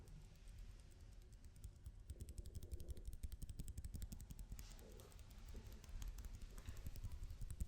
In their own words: 17:11 青いテープタッピング